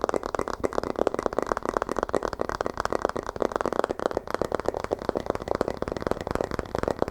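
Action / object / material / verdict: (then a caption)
tap / paper book / paper / none. A paper book is tapped rapidly and continuously, producing a stream of short, dry, wood-like knocks centered in the midrange with almost no ring. The sound resembles tapping on wood, which fits since paper is made from wood.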